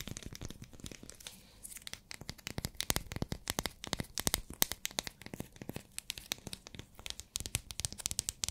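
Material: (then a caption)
Glycerin soap. Long nails tap and scratch a small translucent pink solid glycerin soap bar, making a rapid stream of sharp, crisp clicks and scratchy crackles. The bright tapping continues steadily as the sound fades out.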